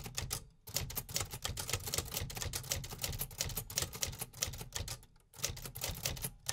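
Fingertips tap the keys of a vintage metal 1950s typewriter with paper loaded, typing continuously. Rapid, sharp mechanical clacks, bright on top with a low thump beneath, stop quickly with almost no ring. Two brief pauses break the steady typing.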